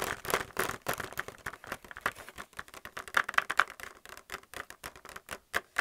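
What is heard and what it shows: Fingernails tap quickly on the plastic blister of a paint palette still in its blister pack. A rapid, uneven run of short, dry, clicky taps has almost no low end and a hollow plastic tone around 1.4 kHz. Each tap dies away almost instantly, and a few land noticeably louder than the rest.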